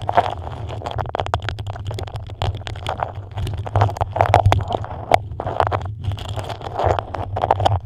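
Long nails scratch and tap a stiff, patterned beeswax-coated cotton food wrap shaped over a microphone. Dense crackly scrapes and quick sharp taps sit over a steady low rumble, with papery bursts that swell and fade throughout.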